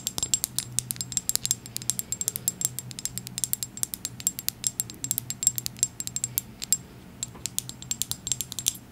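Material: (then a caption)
Glass. Long acrylic nails rapidly tap a small dark glass serum bottle with a gold dropper and white label. The taps are sharp, bright clicks that die away almost at once, each with a faint high ringing tone. A low, steady hum sits underneath throughout.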